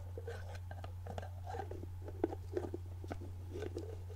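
A full, medium clear plastic jar of organic coconut oil with a white plastic screw lid is held in hand while long painted nails tap, scratch and twist the lid. Soft, quiet clicks and brief scratchy taps sit over a steady low hum, with a few sharper, short taps standing out.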